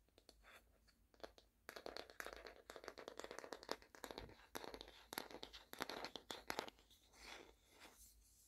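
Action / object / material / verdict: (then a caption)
scrape / small wooden coaster / wood / none. A small, solid, flat round light wooden coaster with a painted potted-plant print is held in both hands and scratched and tapped with long painted fingernails. Quiet, dry scratching alternates with rapid bursts of crisp clicking taps that stop short with no ring. The texture is thin and bright, with almost no low end.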